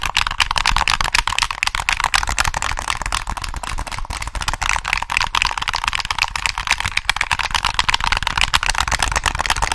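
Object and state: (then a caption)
Plastic game controller. Fingertips tap and click the buttons and triggers of a hollow black plastic PS3 controller held close to the mic. The result is a dense, continuous stream of sharp, dry plastic clicks and taps with almost no ring, bright and crisp, centered around 2.3 kHz, over a steady low rumble.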